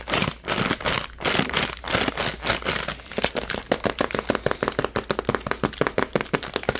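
A hand-sized purple printed plastic pouch with white edges is squeezed and crinkled between fingers. Slower crinkling swells give way to a rapid run of sharp, bright crackles, with little low-end weight.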